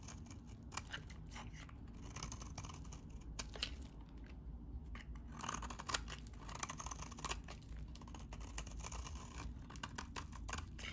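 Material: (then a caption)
Soap. A metal utility knife blade scrapes a solid, dry, oval pink bar of soap held in the hand, shaving it into flakes. Dense, crisp scratching and crackling strokes repeat steadily throughout, with bright, dry bursts over a soft low rumble at a quiet, even level.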